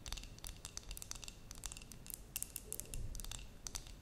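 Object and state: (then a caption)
Glass terrarium jar tapped with nails. Long nails tap and scratch a glass terrarium jar with a cork lid that holds soil and moss. The result is a quiet, rapid series of sharp, bright clicks and scrapes, each dying away almost instantly, over a soft low rumble.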